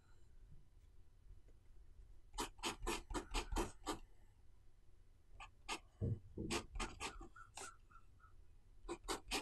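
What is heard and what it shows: A metal-nib fountain pen writes Chinese characters on the thin white paper of an open notebook lying flat on a desk. Quick, bright scratching strokes come in clusters separated by quiet pauses, over a faint low background hum.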